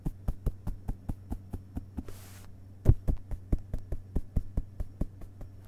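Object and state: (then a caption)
Open paper book pages tapped with fingertips. Fingertips of both hands tap rapidly on the printed pages of an open hardcover book resting on carpet, making 24 soft, dull, low thumps over a steady low hum. A brief pause with a faint papery rustle near the middle is followed by one louder tap, and the quick tapping then resumes.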